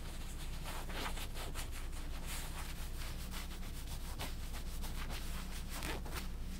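Fingernails and fingertips rub and scratch across the printed area of a black skull-print cotton Harley-Davidson t-shirt held up in front. The result is a steady run of soft, dry scraping strokes with bright, hissy texture over a constant low hum.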